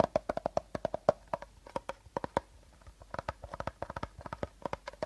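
A medium clear plastic bottle with a teal plastic cap, hollow and seemingly empty, is held upright in both hands while short nails and fingertips tap and scratch its sides. About 33 quick, dry taps with a hollow tone around 600 Hz and very little ring come in uneven bursts, with faint scratching between them.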